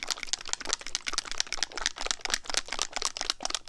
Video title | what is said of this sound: RANKING EVERY FOUNDATION FROM WORST TO BEST!-Ranking my Makeup!-Ranking my Foundations! | It's really, really liquidy. It's super oily.